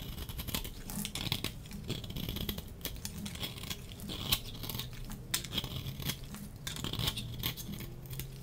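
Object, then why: Bar of soap shaved with a metal blade. A solid, dry pink soap bar is held in the hand while its edges are shaved with a metal box-cutter blade in repeated scraping strokes. Each stroke gives a short, crisp, bright scratch with sharp crackling transients over a soft low rumble, and the brief strokes come in quick, uneven succession.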